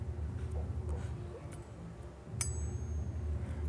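An iron keris blade, a Mesem with Triwarno pamor estimated to be Cirebon work, is flicked by hand and gives a bright metallic ping. The strike at about 2.4 s leaves thin high tones ringing over a steady low hum. The clear ring marks the blade as good iron.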